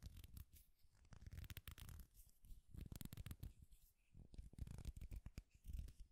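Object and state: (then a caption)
Wooden popsicle-stick clip scratched with fingernails. Fingernails scratch a flat, thin, solid wooden popsicle-stick clip with an owl decoration, held in both hands. The sound is a quiet, dense run of dry, rapid scratching bursts with a heavy low rumble and brief bright edges, each burst dying away almost instantly.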